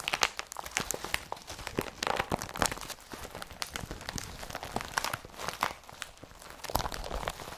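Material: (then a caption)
Polypropylene. A blue IKEA BRATTBY woven polypropylene carrier bag with a yellow-patterned strap is held empty and rubbed and crumpled with both hands. The result is a dense run of dry, crackling crinkles and short crunchy snaps that reach up into the high, bright range. The snaps come in uneven bursts with almost no ring between them.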